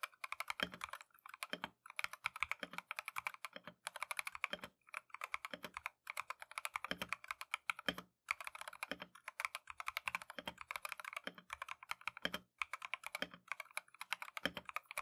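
A Keychron V1 compact mechanical keyboard with Tangerine switches and green and white plastic Matcha keycaps is typed on continuously with gloved fingertips. Fast, bright, clicky keystrokes run steadily with brief pauses and occasional deeper thumps from longer keys. Each stroke decays almost at once.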